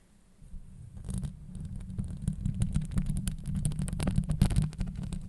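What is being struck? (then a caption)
Metal mesh microphone grille. Long nails scratch and tap on a hollow metal mesh microphone grille. After a quiet start, a dense run of rough, rumbling scrapes and quick, dry taps builds up, heavy and muffled in the low end with brief bright clicks on top. The scratching and tapping continue steadily to the end.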